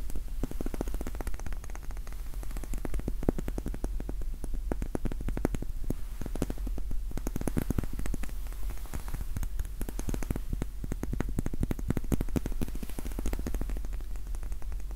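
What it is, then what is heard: Wax pillar candle. A small pink solid wax pillar candle is held in both hands while its sides are tapped with fingertips and nails. A steady run of quick, dry, soft taps patters on without pause, each one dull and short with almost no ring.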